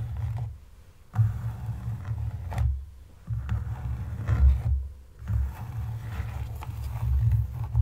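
Fingertips and long nails tap and scratch the leather upper and sides of a hollow, empty brown leather wedge loafer with a buckle strap resting on a table. The result is dull, low, muffled rubbing and scraping in uneven bursts, with a few brief quiet pauses between them.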